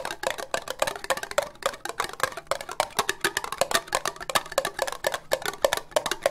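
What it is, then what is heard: Ribbed plastic cup tapped with fingernails. Long nails tap rapidly on an empty, hollow orange ribbed plastic cup, making about 36 quick, dry clicks in an uneven, busy rhythm. Each tap is short and hollow, with a woody tone centered around 555 Hz and a bright, crisp edge that dies away almost at once.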